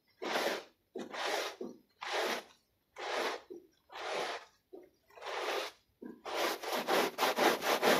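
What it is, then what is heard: Wet pile rug scrubbed with a brush. A plastic bristle brush scrubs a small, wet, foot-shaped textile pile rug covered in white foam. Long, bright rasping strokes come one after another with short pauses, some followed by quick short rubs. The strokes then speed up into a faster, louder run of scrubbing at the end.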